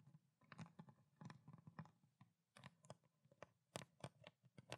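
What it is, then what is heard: Plastic water bottle. Long black nails tap and scratch quickly on a small clear ridged plastic water bottle with a blue cap and water inside. The result is a stream of quick, dry clicks and crinkly scratches in irregular bursts, each with a low hollow thump under a bright edge that dies away almost at once.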